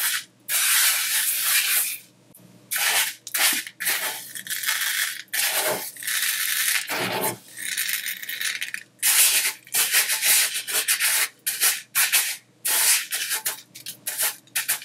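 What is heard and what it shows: Fingertips trace spirals through coarse colored sanding sugar spread thin on a white surface, then a flat palm rubs across the dry granules. The result is a series of bright, gritty scratching and rubbing bursts separated by short pauses, with almost no low end.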